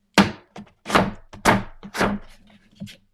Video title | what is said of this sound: Draw with Me: Blindfolded! | it sounds thick that's true ... right sounds like cardboard almost yeah but it doesn't feel like cardboard